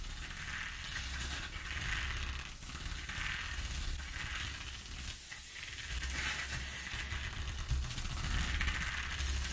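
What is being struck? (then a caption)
Corrugated cardboard sheet. Long nails tap and scratch across the exposed ridges of a flat corrugated cardboard sheet. The result is a steady, dense rasp with bright, gritty texture and a low rumbling undertone, rising and falling in waves of scraping strokes.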